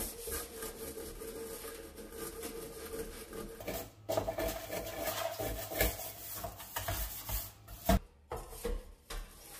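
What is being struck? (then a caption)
Stainless steel kitchen sink. A hand in a yellow rubber glove scrubs inside a large, hollow stainless steel kitchen sink basin near the drain with a handheld bristle brush. A steady rasping rub runs over a low hum, then grows louder after about four seconds with repeated scrubbing strokes and a sharp knock near the end.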